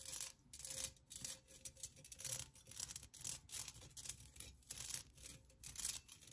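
Long nails tap and scratch the outside of a hollow, empty pink pen cup made of thin perforated metal with a floral cutout pattern. The result is a quiet series of bright, hissy scraping bursts with light ticking, broken by short pauses, and a faint steady tone underneath. Each stroke dies away almost at once without ringing.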